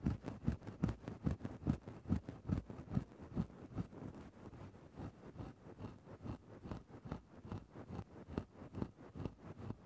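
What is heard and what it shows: A thin bamboo stick scratches into a grey synthetic-fur microphone windscreen. It makes soft, muffled, low scratching and rustling strokes that repeat about twice a second in a loose rhythm. The strokes are louder at first and ease slightly later on, with almost no bright content.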